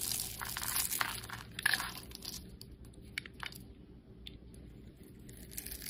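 A solid white bar of soap streaked with blue and pink is held in the hand and cut and scraped with a metal blade, giving off dry, crisp crunching and shaving sounds. The bright scraping is dense and loud at first, then thins into quieter, scattered scrapes over a low, steady hum.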